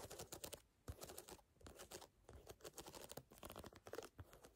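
Long nails tap and scratch across the solid ridges of a brown ridged rubber sneaker outsole. Quick, dry taps mix with bright, raspy scratching strokes in dense bursts, separated by a few short pauses. Each hit stops almost instantly with no ring.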